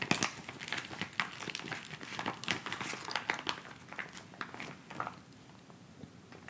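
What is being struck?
Plastic instant cold pack pouch.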